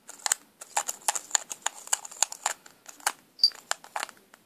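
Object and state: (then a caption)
Plastic lipstick case. Long pink nails tap and click on a small, hollow black plastic lipstick tube with a clear plastic cap. A quick, irregular run of dry, bright clicks and ticks sounds with no ring, plus one brief high ping near the end.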